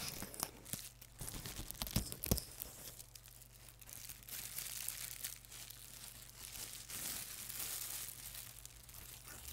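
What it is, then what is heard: Plastic bubble wrap. A clear, thin, flexible sheet of plastic bubble wrap about the size of a hand is crumpled, squeezed and rubbed between fingers and hands. It makes a dense run of bright crinkling and crackling rustles with a few sharper snaps near the start, all over a steady low hum.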